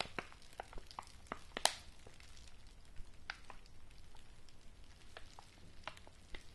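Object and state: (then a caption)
Paper padded envelope being scratched and tapped. Fingernails scratch and tap the surface of a yellow kraft-paper padded envelope held up close. Soft, crackly scratching runs throughout, broken by sharp, scattered taps, the loudest coming early in the clip.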